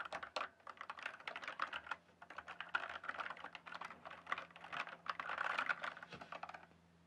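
Fingertips type steadily on a blue and purple backlit mechanical keyboard with plastic keycaps. The result is a dense run of quick, clacky keystrokes with short pauses, sharp midrange clicks that stop almost instantly, and a brief lull near the two-second mark.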